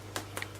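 Homemade brioche buns fresh from the oven are tapped on the bottom, giving two quick, soft, hollow knocks with a bright top and a short ring over a steady low hum. The hollow sound shows the buns are baked through.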